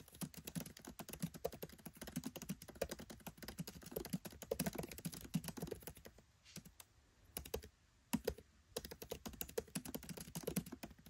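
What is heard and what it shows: Fingertips type rapidly on a MacBook Pro 13 keyboard, with black plastic keycaps set in an aluminium body. The taps are quick, dull and clicky with short decays, running in dense bursts broken by a brief pause near the middle and a few isolated taps.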